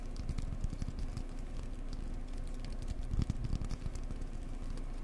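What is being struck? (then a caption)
Cork block. Fingers gently tap a cork block up close in a rapid, continuous patter of soft, dull, low thuds with faint brighter clicks. Each tap dies instantly with no ring, and a slightly firmer cluster of taps lands a little past the middle.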